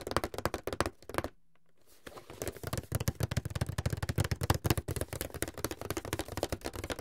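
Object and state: Cardboard box.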